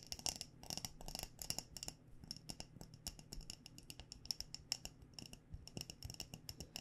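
A glass mason jar filled with loose tea, with a fabric cover over its metal lid, is tapped on its glass body with long nails. A quick, uneven run of short, bright clicks is heard, some in fast clusters, each with a faint high glassy ring that dies away almost at once. The tapping is soft and steady throughout.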